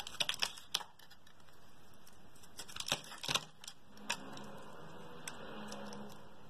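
A metal blade shaves thick curls off the surface of a palm-sized, solid blue oval bar of soap held in one hand. Quick, crisp, bright scraping clicks come in irregular bursts, bunched near the start and around the middle, with quieter stretches of soft hiss and faint low rumble between them.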